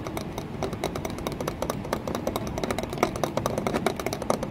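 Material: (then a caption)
Glass. Long nails tap rapidly on an embossed green glass panel set in a wooden window frame. They make a dense run of short, bright clicks with a mid-range ring over a low background rumble.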